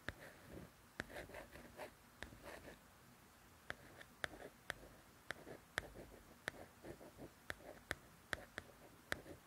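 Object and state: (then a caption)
Glossy paperback book cover. Long nails scratch and tap the glossy paper cover of a softcover coloring book up close. Soft, papery scratching strokes are broken by about 15 sharp, bright nail clicks that die away instantly. The sound stays quiet and dry throughout.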